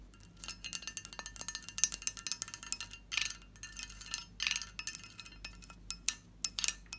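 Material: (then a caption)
Glass. Long fingernails tap and scratch the lower ribbed side of a medium, hollow, empty pressed-glass bowl with a lid. A rapid series of bright, clicky taps with short glassy ringing is broken by rasping scratch bursts around 3 and 4.5 seconds, with almost no low end.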